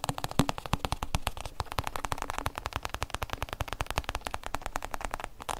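Fingertips and nails rapidly tap and scratch the covered shell of a hollow, oblong hard-shell EVA zip case held in the hands. A dense run of dozens of short, dry clicks lands over a low, hollow thud around 270 Hz, with a faint bright scratchy texture between the taps and almost no ring after each hit.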